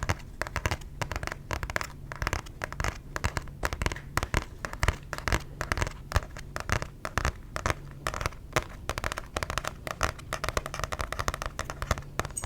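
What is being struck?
Paper book.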